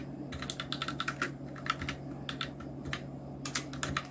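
Fingertips of both hands type on a full-size black Nubwo Illution NK-70 mechanical keyboard with Outemu red switches, round plastic typewriter-style keycaps and blue backlight, resting on a white desk. Quick, irregular bursts of short, bright plastic key clacks with tiny rattles sit over a steady low hum, each click dying away almost instantly.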